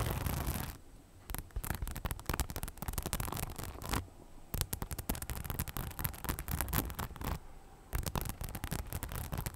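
Long nails scratch across the rhinestone-studded front panel of a soft, hollow cream crossbody bag. Bursts of dense, rapid, crackly scratching come in quick runs separated by brief pauses.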